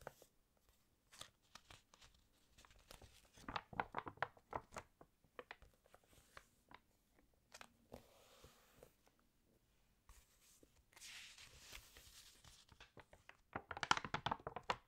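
Flat hands rub across the open spread of a water-damaged glossy paper fashion magazine, then a fingernail catches the corner and turns a page. Quiet, crisp crinkles and soft rustles come in quick bursts, with a brighter hissing sweep as the page slides. It ends in a louder flurry of sharp paper crackles.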